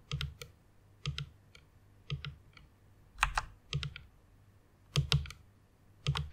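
Fingertips with long red nails press and tap the keys of a full-size white plastic mechanical keyboard resting on a pink pad. Bursts of two or three quick, bright clacks with a low thock come about once a second, each dying out almost at once into quiet between bursts.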